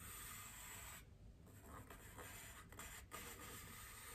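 Long painted nails scratch a large white solid styrofoam wreath ring resting on a table. The sound is a steady, dry scratching hiss with bright, squeaky rubbing over a low rumble. It dips briefly quieter around one second before the scraping strokes pick back up.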